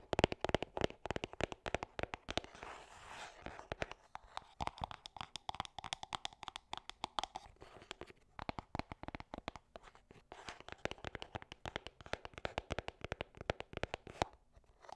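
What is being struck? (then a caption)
Small cardboard box. A small, hollow gold-and-cream printed cardboard gift box is held in the hands and tapped and scratched with long dark painted nails. Quick, dry clicks and taps come in dense bursts, mixed with softer scratching and rustling. The sound is quiet and close, with almost no ring after each tap.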